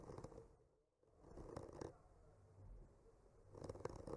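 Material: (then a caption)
Wood. The tip of a bamboo skewer traces and scratches around the painted blossoms on a solid wood panel decorated with painted trees. Quiet, soft scratching and rustling fills the clip, fading almost to silence just before the first second. Denser, slightly louder scratchy strokes return in the middle and again at the end.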